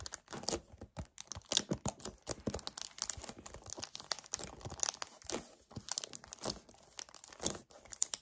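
Both hands squeeze and grip a hollow 1 L white paperboard kefir carton, with fingertips and short nails scratching its surface. The result is a fast, uneven run of bright crinkling, tearing-like scrapes and dry crunches with brief pauses.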